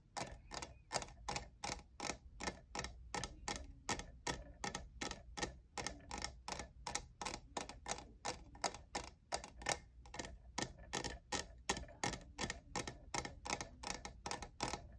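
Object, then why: Textured plastic cup. Fingertips and nails tap the sides of a hollow, lavender, diamond-textured plastic cold cup. About 58 quick, dry, bright clicks come in a steady but uneven rhythm, each dying away almost at once, over a faint low hum.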